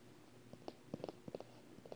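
Fingertips and long painted nails tap and scratch the surface of a large, unwrapped paper wall calendar with thin, flat sheets lying on carpet, then handle the page edges. The result is a quiet series of soft, dry, papery taps and brief scratches with almost no ring, each one dull and mid-pitched against a faint background hush.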